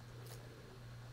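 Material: Nothing is struck.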